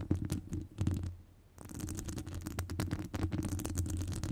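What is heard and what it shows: Long nail tips scratch and tap the top of a hollow metal wire-mesh microphone grille. The result is dense, low, rumbling scratches and taps, with a brief quieter lull before the scratching picks up again and continues steadily.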